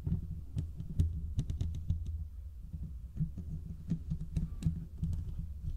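Fingertips and short nails of both hands scratch the hollow domed steel mesh grille of a large desktop condenser microphone. The result is a dense, boomy low rumble with thumping bursts, scattered with quick, sharp ticks and scrapes that reach into the highs and die away almost instantly.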